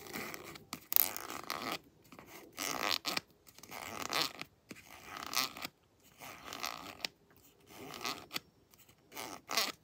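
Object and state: Plastic lotion tube.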